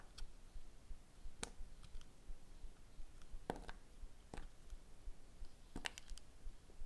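A small metal-handled blade cuts and shaves thin slices off a small, solid red soap bar molded like a strawberry, held in the fingers. The carving produces quiet, sharp clicks and ticks at irregular intervals, each very short and bright, over a low background hum.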